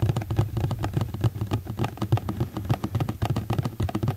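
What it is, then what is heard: Plastic food container. A hollow, empty, medium rectangular black ribbed plastic food tray is held in both hands and tapped rapidly with fingertips and nails. The taps come in a quick, uneven stream, each a dull, low, hollow knock around 113 Hz that dies away almost at once.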